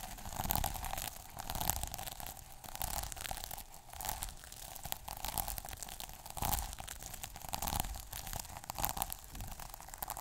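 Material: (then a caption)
Plastic. A fingertip and short nail scratch across the plastic sequin cover of a small sequin notebook. The result is a dense, continuous crackling and rustling texture with a low rumble underneath, with bursts of louder scratching that swell and fade throughout.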